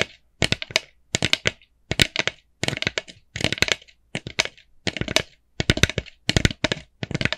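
Long nails tap and scratch on a small, hollow, empty orange plastic jack-o'-lantern bucket. Quick clusters of sharp, bright, clicky taps come in short bursts separated by brief pauses.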